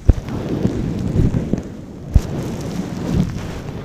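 Fingertips and long nails slowly rub and scratch a long-pile brown faux fur windscreen covering a microphone. The result is a soft, muffled, low rumble with occasional duller thumps and almost no high-frequency content.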